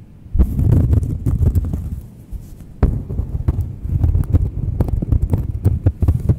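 Long nails scratch and tap the face and edge of a thin, solid round cork coaster held close to the microphones. The result is a dense run of soft, deep, thumping taps and muffled scratches with almost no ring. A quieter stretch follows, then a sharper tap brings the busy tapping back.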